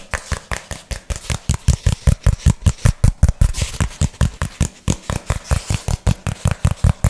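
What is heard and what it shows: Fingernails rapidly tap and scratch a thin, hand-sized, flat brown cardboard piece held in both hands. About thirty short, dull thuds come in a fast, uneven rhythm, each with a brief bright scratchy edge. Every hit dies away almost at once.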